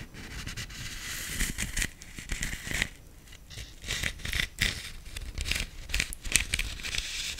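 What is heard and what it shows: A medium-size, black, hollow plastic decorative pumpkin with gold glitter dots is held in the hand while long nails tap across its ribbed surface. The taps come as quick, dry, bright clicks with a crinkly, rustling texture, each dying away almost instantly. They cluster in irregular bursts over a faint low rumble.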